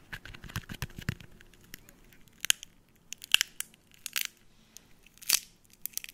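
A hollow, broken-open brown hen's eggshell is held close to the microphone and crunched and peeled with fingertips and nails. Irregular, bright crackling and crisp crunching ticks fill the clip, with a few sharper, louder snaps standing out. Each crack ends almost instantly with no ring.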